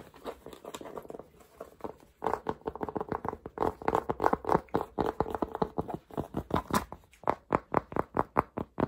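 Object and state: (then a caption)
Cotton cap tapped and scratched. Fingertips tap and scratch the crown and brim of a black soft cotton Polo cap with a red logo, held in the hands. A fast, steady stream of short, dry, muffled taps and scuffs sits in the midrange, with soft scratchy texture between them. The taps get louder and more evenly spaced toward the end.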